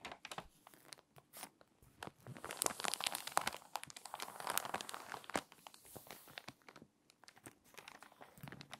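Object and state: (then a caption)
Crinkly water-damaged magazine pages. Fingers with long nails rub the crinkly page of an open, water-damaged glossy paper magazine showing a fashion spread, then start turning the edge. Dense, bright crinkling and crackling come in quick bursts, swelling louder through the middle before settling into softer, scattered rustles.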